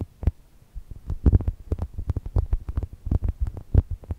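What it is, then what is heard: Foam toast squishy. Long nails scratch and tap the lower face of a soft brown foam chocolate toast squishy. The result is a rapid, uneven run of dull, muffled thumps and soft scrapes, almost all low and boomy with only faint brighter ticks on the sharper taps.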